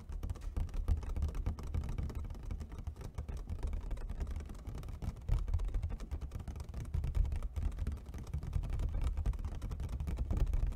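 A clear, thin plastic takeout clamshell food container, hollow and empty, is gripped at the sides and tapped rapidly with fingertips and nails on its top and sides. The result is a dense, continuous patter of quick, dull taps with a low, boomy weight and almost no ring, rising and falling slightly in loudness throughout.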